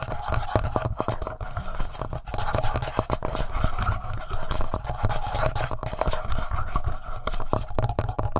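Fingertips and nails scratch the front panel and upper body of a handheld black plastic Tascam audio recorder. The result is a dense, continuous stream of rapid scratching and tapping with a heavy low-end rumble and very little bright content.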